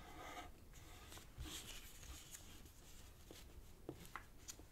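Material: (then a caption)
Paper. A thin light-green origami paper strip is folded on a black cloth table while fingertips and nails press and rub the creases flat. The sound is a quiet, close, dry rustling and scraping over a low background rumble, with three brief crisp ticks of the nails against the paper.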